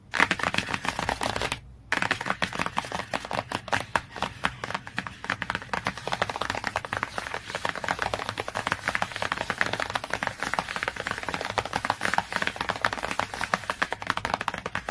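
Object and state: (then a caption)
Glossy hardcover book cover. Long fingernails tap and scratch rapidly across the laminated cover of a glossy cardboard hardcover book, making a dense stream of crisp, dry clicks with scratchy brushing between them. After a brief pause near the start, the quick tapping carries on steadily to the end.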